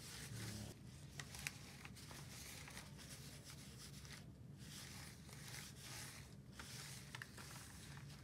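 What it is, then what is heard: Plastic calculator being wiped. A gloved hand holds a handheld plastic scientific calculator while a white wipe rubs over its case and buttons. Soft, continuous brushing and scraping friction carries a bright hiss over a low rumble. A few faint plastic clicks and taps stand out along the way.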